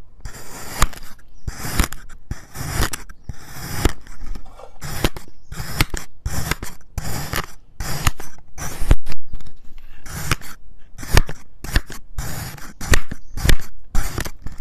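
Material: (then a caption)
Kinetic sand. A white ceramic knife cross-cuts an already sliced purple and yellow kinetic sand heart into small cubes. Repeated crisp slicing and scraping strokes come in quick bursts with short gaps, each carrying a bright, grainy crunch over a soft low thud.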